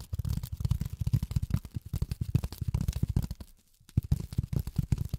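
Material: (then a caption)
Polyethylene foam. Long fingernails tap rapidly on polyethylene foam, producing a dense stream of short, dull, low-pitched taps with no ring. The tapping briefly pauses just before the four-second mark, then resumes at the same quick pace.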